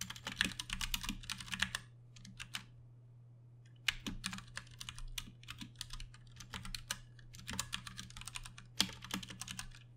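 Both hands type with their fingertips on a Ducky One 2 Mini, a compact 60% RGB-backlit mechanical keyboard with plastic keycaps and Cherry MX Brown switches, resting on a desk. Bursts of rapid, bright, short clacks come in runs, with a quieter stretch of scattered taps near the start. A steady low hum sits underneath throughout.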